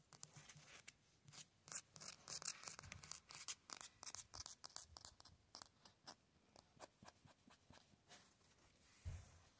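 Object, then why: Concrete cinder block wall. Fingertips tap and clawed fingernails scratch fast and aggressively across the rough face of the grey concrete cinder blocks of an outdoor wall. A run of quick, dry, bright scratches and taps stops dead with no ring. A duller low knock lands near the end.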